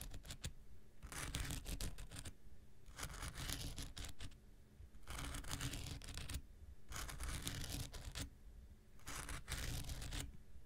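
An x-acto knife blade scratches a handheld pink rectangular nail buffer block made of solid foam with an abrasive surface. Five bursts of dense, bright, rasping scratches alternate with quieter pauses over a low, steady rumble.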